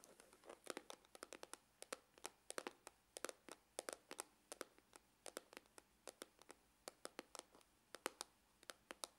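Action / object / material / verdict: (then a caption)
tap / faux-leather hard-shell glasses case / faux leather / none. Fingernails scratch and tap along the side and near the opening seam of a dark, textured faux-leather glasses case with a hollow hard shell. About 47 short, dry clicks and scraping taps sound in quick, irregular bursts, each bright and snapping off almost instantly, with no deep resonance.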